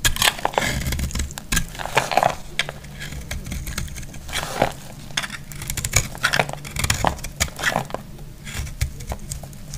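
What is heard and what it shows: A palm-sized bar of dry yellow soap, held in the hand, is scraped and cut with a metal utility blade as curls and flakes fall away. Dense, crackly scraping and sharp snapping clicks repeat throughout over a low background rumble, with brief bright crisp bursts on the harder cuts.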